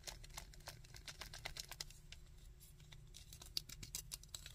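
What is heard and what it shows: Fingertips and nails tap and scratch the head, back and legs of a small, chunky, painted hard plastic Sandman action figure. Quick, dry, bright clicks and scrapes fall in a rapid, uneven patter, with no ring after each touch. A soft low rumble sits steadily underneath.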